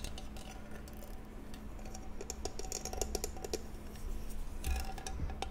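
A small, hollow jewelry box with an embossed floral pattern and an antique bronze or pewter-look metal finish, lid closed, is held in both hands and tapped or scratched with long painted nails across its embossed surface. Quick, light, irregular clicks and bright scratchy ticks come in loose clusters over a steady low hum. Each tap dies away almost at once.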